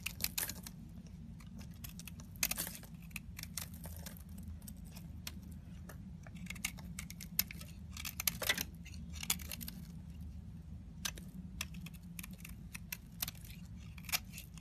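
A solid rectangular yellow soap bar held in the hand is scraped and shaved along its surface with a metal knife blade, with shavings falling off. Crisp, bright scraping and crackling strokes come in quick bursts over a steady low hum.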